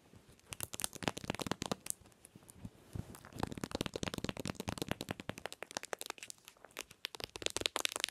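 Long nails rapidly tap and scratch the back of a smartphone in a hard plastic case with a pink pattern and a metal ring grip, lying on a white pillow. The sound is a dense run of crisp, bright clicks and scratchy crinkles with no ring. Brief quieter lulls come around the 2–3 and 6 second marks.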